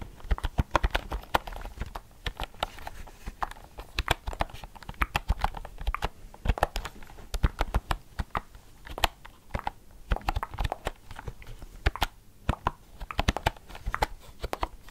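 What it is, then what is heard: Plastic keyboard with round keys. A plastic computer keyboard with round pink and red typewriter-style keycaps is held up in both hands while the fingers tap and press the keys. Dozens of quick, dry clicks and clacks come in uneven bursts with no ring after each one. A soft, low thud sits under the keystrokes.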